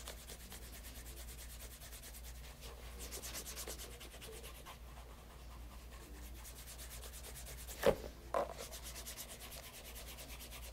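Cloth-wrapped fingers rub polish in circles on the toe of a pebble grain leather loafer fitted with a shoe tree and held over a leather mat. Soft, steady, brushy rubbing strokes repeat at a quiet level over a constant low hum, with two brief louder taps near the end.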